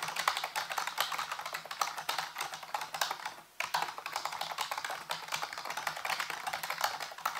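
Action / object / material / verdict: tap / plastic computer keyboard / plastic / none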